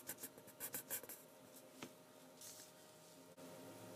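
A colored pencil tip held in the fingers scratches across heavyweight sketching paper bearing an ink drawing, lying flat on a table and steadied by the other hand, shading the moon. A quick series of short, bright scratchy strokes opens the clip, followed by a single sharper stroke, then a soft, steady rubbing hiss that continues to the end.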